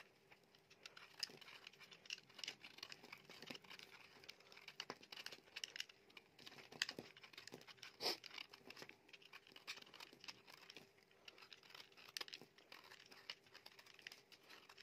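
A utility knife blade scrapes and shaves the surface of a solid, dry soap bar, pink inside with a black outer layer, held in the hand. Quiet, bright, crinkly scraping runs in dense rapid strokes with sharp crisp snaps, each dying away at once, over a faint steady hum.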